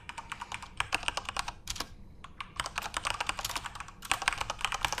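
Both hands type rapidly with their fingertips on a full-size Corsair RGB-backlit mechanical keyboard with plastic keycaps. A dense stream of sharp, bright clicks and clacks dies away almost instantly, with brief pauses near two and four seconds.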